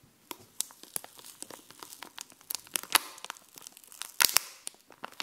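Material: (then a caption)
Plastic. Long painted nails tap and scratch a sheet of raised, glossy puffy plastic stickers with dog and heart designs on a backing card. The result is irregular, sharp, bright clicks mixed with crinkly, tearing-like scratches, with almost no low end and very short decay.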